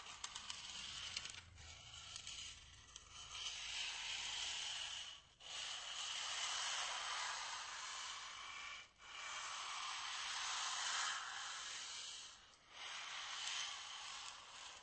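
A small, white, solid styrofoam block, held upright, is scratched with fingernails and rubbed with fingertips. The result is a bright, hissing, squeaky friction sound with a crackly start, running in long steady stretches broken by short pauses near 5, 9 and 13 seconds.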